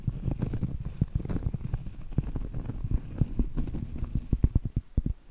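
Long acrylic nails tap and scratch the surface of a round, flat, solid cork trivet held upright. The result is a rapid run of soft, dull, low-pitched taps with almost no ring, over a muffled scratching rustle that ends in a few sharper, more spaced-out taps.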